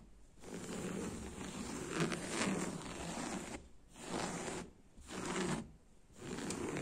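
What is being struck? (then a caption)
Woven fabric upholstery over a padded cushion. Fingertips and nails scratch and rub across coarse, woven beige sofa fabric with a brown spiral print over a padded cushion. The result is a dry, rasping, zipper-like scrape with a broad bright hiss, heard as four scratchy passages separated by short pauses.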